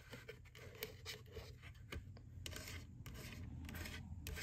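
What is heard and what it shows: Fingertips and long nails tap and scratch the side and lid of an empty, white, hollow plastic McDonald's ghost Boo Bucket with a handle. Quick, irregular hollow taps and bright clicks mix with dry scratchy rasps over a soft low rumble, and each sound dies away almost at once.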